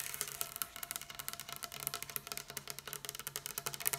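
Long pink acrylic nails tap a large, solid dark-wood tabletop, first with the fingertips of both hands and then with a single fingernail. About 25 quick, crisp clicks sound in a steady patter, each bright and high with almost no ring.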